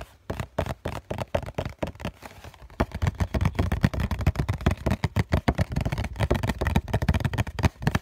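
Several fingertips tap rapidly on the printed front face of a hollow cardboard COCON tissue box held up in both hands. The result is a dense run of short, dry, hollow taps with a low, thumpy body and almost no ring. The taps start sparse and soft, then grow louder and more continuous after about three seconds.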